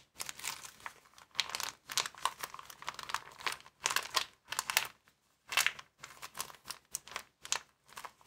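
Fingers squeeze and crinkle a small, empty white plastic bag rolled into a tube. Bright, crackly crinkling comes in quick bursts separated by brief pauses, with almost no low end.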